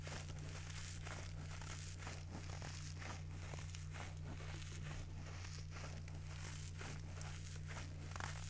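A yellow foam kitchen sponge with a green scouring pad, held in one hand, is squeezed and scratched with fingers and nails. This makes soft, crinkly scratching and squishing bursts that repeat unevenly. A steady low hum runs underneath at a quiet, even level throughout.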